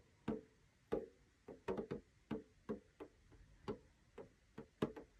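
Fingertips of both hands tap the clear plastic window lid of a small rectangular metal tin with a blue snowflake rim, hollow with paper contents inside. Fourteen short, dry, hollow taps sound in an uneven rhythm, each with a low-mid knock around 220 Hz and almost no ring.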